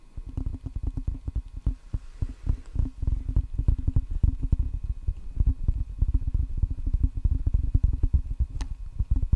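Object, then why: Rubber-faced wooden table tennis paddle. Fingertips rapidly drum on the red rubber face of a solid wooden table tennis paddle held facing the microphone. The result is a quick, uneven patter of dull, low thuds that stop dead with no ring or bright edge.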